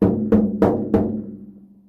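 A bicycle wheel rim made of bamboo composite fiber is tapped four times. Each tap gives a hollow, drum-like knock centered around 215 Hz, with little high end. The sound fades over about a second after the last tap.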